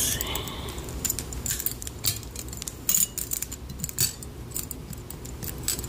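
Long pink fingernails scratch and pluck along the thin metal wire prongs of a handheld wire scalp massager with an open, hollow metal handle, held close to the microphone. The result is a steady stream of bright, metallic, springy creaks and clicks with short rings and several sharper jangling bursts over a low rumbling background.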